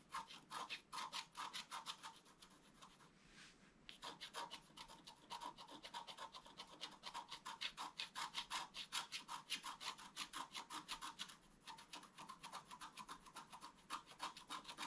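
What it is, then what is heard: Scratch-art paper sheet. A thin wooden stylus makes fast hatching scratches across a flat, black-coated scratch-art paper card. The dry, bright rasping strokes come in quick, uneven bursts, with short pauses near 3.5 and 11.5 seconds. There is almost no low end, and each stroke stops sharply.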